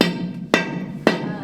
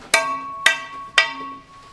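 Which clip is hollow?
The first.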